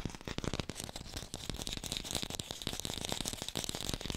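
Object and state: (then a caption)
Fake green apple. Fingertips tap fast on an artificial green apple, recorded with a hi-fi microphone. The taps come in a dense, rapid patter of short, dry clicks with low thuds underneath and a bright, crisp edge, each dying away almost instantly.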